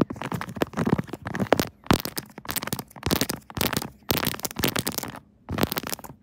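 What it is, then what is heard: Silicone phone case tapped and scratched with nails. Long nails rapidly tap and scratch a pink 3D silicone Kirby phone case with raised buttons on a tripod-mounted smartphone, hitting the case and its raised keys. Dense bursts of crisp, crackling clicks and scratches come in clusters separated by short silences.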